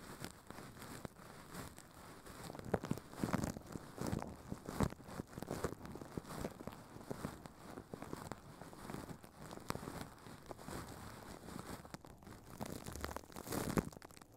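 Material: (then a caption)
Plastic film. Furry puppet hands crumple and crinkle thin, clear plastic film wrapped over a microphone head. Dense, close crackling and rustling continues throughout, with heavy low-end thumps and louder bursts of crinkling along the way.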